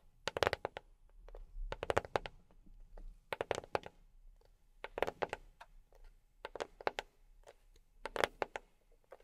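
A box tapped by fingertips fitted with silicone rubber pads, giving quick bursts of soft, dull taps with a midrange knock around 550 Hz. The taps come in rapid clusters separated by short pauses, with almost no ring after each one.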